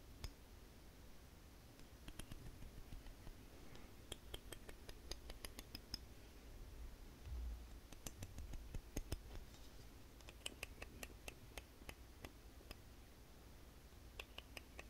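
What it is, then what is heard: Wooden comb, solid. A light, solid wooden wide-tooth comb is tapped and plucked on its teeth with fingernails, giving dozens of sharp, bright clicks and ticks that stop almost instantly. The clicks come in quick clusters over a low, steady background rumble.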